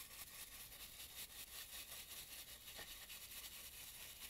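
A dry brush works over a carved, red-painted wooden mask around the nose and mouth, giving a soft, continuous bright rubbing hiss. The faint, steady bristle noise sits mostly in the high range, with little low end and no distinct hits.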